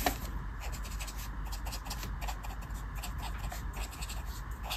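A felt-tip marker is scratched and rubbed over a flat paper colouring book page on a table while colouring in a mandala. Quick, continuous scratchy strokes make bright, hissy bursts over a steady low rumble, at a soft, even level.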